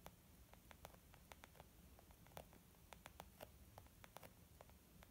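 Gentle, slow fingertip tapping on a leather makeup bag. Soft, muffled taps patter at an irregular pace, each short and dull with a faint mid-range tone, over a low background hum.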